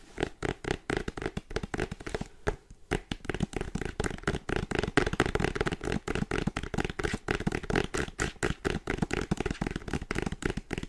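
Fingertips and painted nails tap quickly on a printed cardboard charger box held in both hands with the product still inside. The result is a dense run of short, dry taps with a hollow, low-mid tone, pausing briefly about two and a half seconds in before the rapid tapping resumes.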